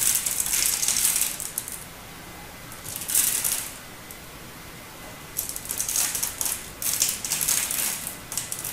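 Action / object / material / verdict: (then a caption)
scrape / bar of hard soap scraped with a metal blade / soap / none. A metal utility-knife blade scrapes and chips crisp flakes from the face of a solid turquoise hard bar soap held in the hand. Bursts of bright, dry scratching and crackling come in irregular runs, separated by short quiet pauses.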